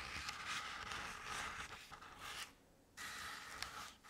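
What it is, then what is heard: Crepe-paper-covered decorative pumpkin. Long decorated acrylic nails slowly scratch both sides of a medium-sized round decorative jack-o'-lantern covered in crinkled orange crepe paper with black paper face cut-outs. The result is a soft, continuous, bright papery rasp with a brief near-silent pause partway through before the scratching resumes.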